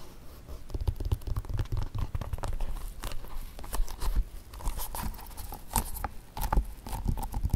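Fingertips and short nails tap and scratch the sides, heel and rim of a single dark leather ballet-flat shoe, hollow and empty, resting on carpet. The result is a dense run of soft, dull, low thuds with quick scratchy clicks and faint bright ticks. Each tap dies away almost at once.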